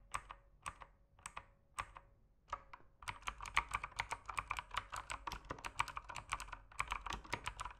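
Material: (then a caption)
Plastic. Fingertips type on the plastic keycaps of an RGB mechanical keyboard. A few slow, separate keystrokes come first, then fast continuous typing follows for the rest of the clip. Each stroke is a crisp, bright clack that stops almost instantly.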